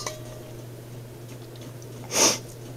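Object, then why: Steel wok buckler. A steel wok made into a buckler shield is tapped twice with a piece of metal: a faint tick at the start, then a louder, bright metallic ring that fades quickly. The buckler gives a clean, nice ring.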